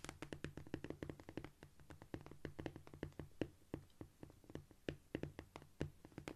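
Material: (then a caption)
Cork. Long almond-shaped nails on both hands, held in a clawed position, scratch and tap quickly across a flat, solid cork floor. The result is a dense run of short, dry taps with a low, soft thud and almost no ring. Faint scratchy rustling fills the gaps, with occasional brighter clicks.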